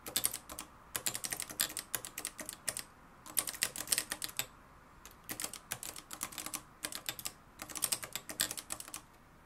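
A mustard-yellow, plastic-cased manual typewriter with a metal mechanism is typed on continuously, fingertips striking its dark plastic keys. Quick, bright clacks come in bursts with short pauses between them, each strike dying away almost instantly. The result is a brisk, crisp typing rhythm with very little low end.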